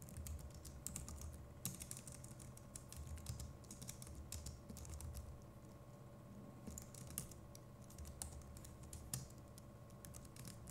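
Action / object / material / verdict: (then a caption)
tap / plastic computer keyboard / plastic / none. Fingertips of both hands type rapidly on a compact Logitech MX Keys Mini keyboard with plastic keycaps, producing a quiet, continuous stream of soft, bright key clicks. Occasional sharper taps stand out above a low, rumbling background with a faint steady hum.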